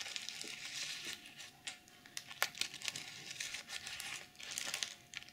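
Fingernails scratch across a BH Cosmetics plastic sequin makeup pouch and flip its mermaid sequins, while the pouch's fur pom-pom is left untouched. The result is a bright, crinkly scratching with sharp clicky ticks as the sequins flip over, and almost no low end.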